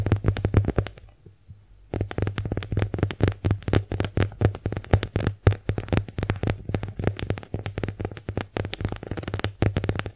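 Long nails rapidly tap and scratch the surface of a small, porous, pink heart-shaped konjac face sponge. The result is a dense run of short, soft, muffled taps with a low thump, pausing briefly near the start before resuming steadily.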